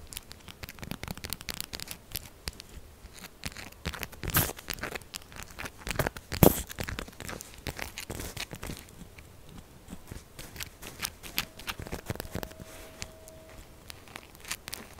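Long acrylic nails scratch and tap quickly across the textured face of a solid pink soap bar. The result is dense, dry, crackly scratching with short bright ticks, broken by a couple of sharper, louder taps near 4 and 6 seconds. A faint steady tone hums briefly toward the end.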